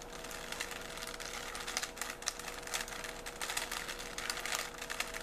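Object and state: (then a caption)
Plastic Rubik's cube. A small, solid 3x3 plastic Rubik's cube is held in both hands while its layers are twisted rapidly with the fingers. The plastic pieces give off a quick run of bright, sharp clicks and rubbing scrapes, with a faint steady tone underneath.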